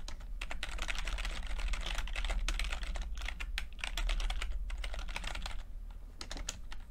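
Fingertips of both hands type continuously on a full-size plastic computer keyboard with low-profile keycaps and red and blue backlit keys. The result is a steady, quick patter of soft, bright key taps over a constant low hum.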